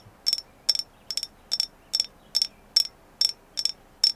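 Tapping on a carved agate moon goddess figure: ten quick, bright clicks in short clustered bursts, each with a sharp high ring that dies almost at once. The taps come at an uneven pace, about two per second, with near silence between them.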